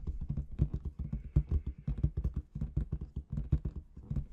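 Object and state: Latex balloon with confetti inside.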